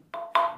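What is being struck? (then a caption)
Limestone stalactite in a cave. A limestone stalactite in a cave in Bohol is struck three times, each hit giving a short, hollow, wood-block-like ringing note. The tone centres around 680 Hz with brighter overtones, and the formation produces different tones when struck.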